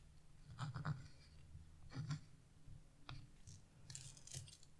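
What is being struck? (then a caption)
Wax-coated scratch-art paper scraped with a chisel tip. A chisel tip scratches into a branch area of black wax-coated scratch-art paper, leaving black flakes on the sheet. Quiet bursts of dry, papery scraping come in uneven clusters, with a low rub underneath and brief bright flicks at the edges of each stroke.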